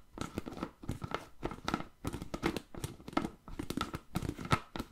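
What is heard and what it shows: Fingertips and nails tap and scratch the lid and sides of a medium-size, hollow, apparently empty clear plastic food container with a blue plastic lid. The result is a quiet, steady run of dry, crinkly taps and scrapes in uneven bursts. Each one has a soft low knock and a faint plastic ring that dies away almost instantly.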